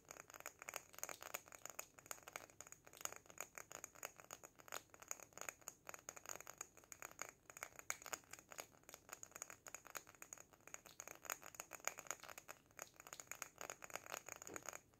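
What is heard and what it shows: Short fingernails tap quickly on a small glass jar filled with sand and holding an artificial succulent. The result is a dense, continuous stream of quiet, crisp clicks with a bright glassy tone and a faint high ring. There is almost no low end.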